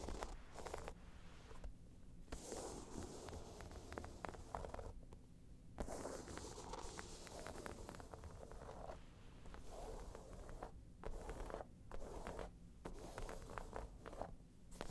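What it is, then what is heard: Faux leather bag scratched with nails. Long nails scratch the sides of a round tan crocodile-embossed faux leather bag, making dense, rough rasping and scraping bursts separated by brief pauses. A steady low rumble sits underneath the quiet, close scratching.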